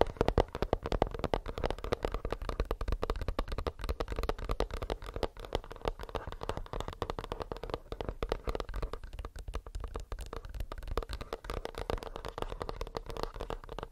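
Fingernails tap rapidly and continuously on a plastic earbuds case, making a dense stream of short, dry clicks. The taps have a hollow midrange tone with a heavy low thump and little high sparkle, each dying away almost instantly.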